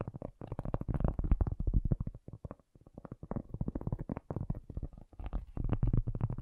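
A cork object is tapped in quick, uneven bursts of soft, dull thuds with brief pauses between runs. The sound is deep and muffled, with almost no bright edge, and each tap dies away almost instantly.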